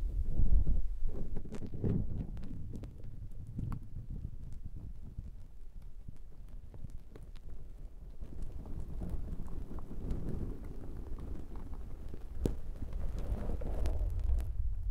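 Fingers grip, squish and rub a black foam windshield on a handheld recorder, close to the microphone. The result is a dense, low, muffled rumble of scratchy rustles and soft thumps that swells and fades, with a few brief brighter crackles.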